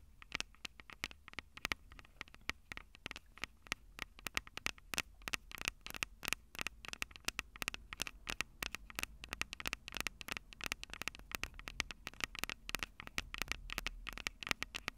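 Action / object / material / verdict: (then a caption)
tap / metal microphone capsules of a handheld recorder / metal / none. Long purple nails rapidly tap the silver metal mic capsules of a Tascam DR-05 handheld audio recorder. The result is a dense, continuous stream of sharp, bright clicks centered around 2.3 kHz, with very little low end. Each tap dies away almost instantly.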